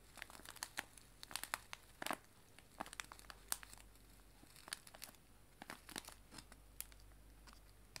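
A small, clear cellophane bag filled with dried loose tea leaves is held in both hands and crinkled and squeezed with fingers and long nails. Quiet, bright, sharp crinkles and crackles come in irregular bursts, each dying away at once, over a faint steady low hum.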